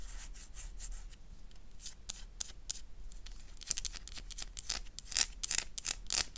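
A solid oval black bar of soap is held in the hand and scratched and scraped with long nails. Bright, crisp rasping strokes come in quick bursts, growing louder and sharper toward the end over a faint steady low hum.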